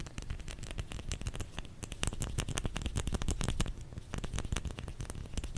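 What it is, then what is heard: Bar of soap tapped with fingers. Fingers tap rapidly and unevenly on a solid bar of soap. The taps land as dense, dull, low thuds with short, crisp clicks that stop almost at once.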